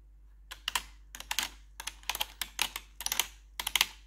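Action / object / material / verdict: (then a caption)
tap / plastic computer keyboard keys / plastic / none. A gloved hand with long, pointed metal claw nails taps and scratches the hollow keycaps of a full-size black plastic keyboard with RGB backlighting. The result is quick clusters of sharp, bright clicks and clacks that die away almost instantly, with very little low end.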